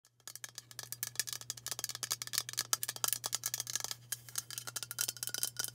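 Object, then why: Aluminium aerosol can. Long matte nails tap fast along a hand-sized, hollow aluminium aerosol can of white Dove dry spray antiperspirant. The result is a rapid, uneven stream of bright, dry clicks with almost no ring, over a faint steady low hum.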